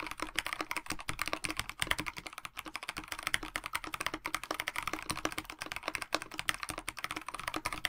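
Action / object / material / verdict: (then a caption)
tap / mechanical keyboard with plastic case and PBT keycaps / plastic / none. A KBD67 Lite 65% mechanical keyboard with a black plastic case, white blank PBT keycaps and lubed Dinokeys Mints linear switches is typed on with the fingertips of both hands. A rapid, continuous stream of short, dry key taps is heard, bright and crisp with little low end and almost no ring after each stroke.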